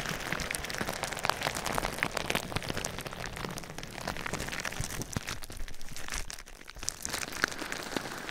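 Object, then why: Plastic bubble wrap. Clear plastic bubble wrap over the microphone is tapped and scratched quickly with fingertips and nails. The result is a dense, continuous crackle of short, sharp clicks with a bright, rain-like texture, easing briefly around six and a half seconds before picking back up.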